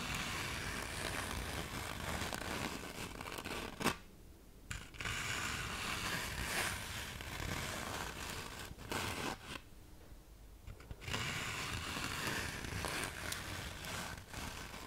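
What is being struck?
Fine-grit sandpaper sheet.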